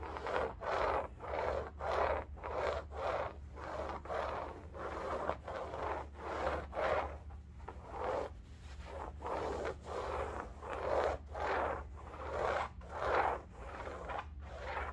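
Long nails scratch and rub back and forth across a large, soft-filled cylindrical bolster pillow upholstered in striped woven fabric. The result is a rhythmic series of dry, papery scratching swishes, centered in the midrange, over a steady low hum.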